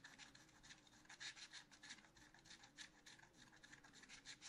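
A wooden stylus scratches short, quick strokes into the black coating of a scratch art paper sheet in a spiral notebook. The result is a quiet, continuous run of dry, bright rasping scratches that swell and fade with each stroke, with almost nothing in the low end.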